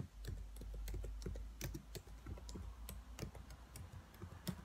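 Long nails tap and type on the black plastic keys of a dark laptop keyboard. Quick, uneven clicks come at a fast, irregular pace, each short and dry with almost no ring, over a steady low hum.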